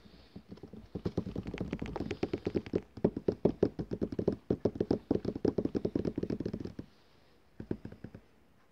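Fingertips and nail tips rapidly tap the glossy paper cover of a large book or catalogue lying on a table, making dozens of quick, dry, low-mid patters with almost no ring. The tapping runs steadily for about seven seconds, pauses briefly, then ends with a few final taps.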